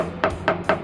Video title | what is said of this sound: Introducing Aviation Composites | here there is sharp sound